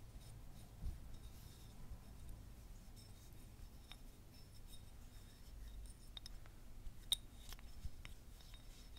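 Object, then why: Selenite crystal wand. A long, slim, white selenite crystal wand, a solid mineral held alone in the hand, is scratched and rubbed along its length with long manicured nails and fingertips. Quiet, dry scratching and rubbing textures are broken by a few short, sharp, high clicks, over a steady low rumble.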